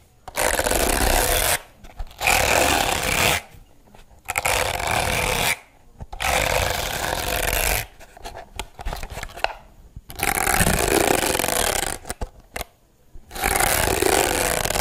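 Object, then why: Plastic hairbrush with plastic bristles. Long blue nails rub and scratch across the dense white plastic bristles of a handheld pink-rimmed plastic hairbrush. The scratching comes as six loud, bright, hissy bursts of rapid, fizzy rasping. Brief near-silent gaps and a stretch of quieter, lighter tapping separate the bursts.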